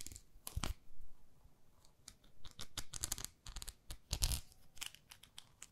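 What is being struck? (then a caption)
Plastic facial cleansing pad with textured face. Long nails scratch quickly across the textured grid face of a small, flat pink plastic facial cleansing brush. The result is a run of short, dry, bright rasping bursts with a dull low thud underneath, with the loudest cluster near the end.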